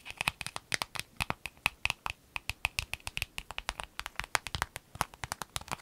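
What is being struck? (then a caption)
Empty clear vinyl zip bag. Long nails scratch and rub an empty, clear lemon-print vinyl zip pencil bag resting on a table. About 38 quick, crisp scratches sound in a rapid, uneven patter, bright and papery with a faint tone near 2.5 kHz and very little low end. Each one stops almost instantly with no ring.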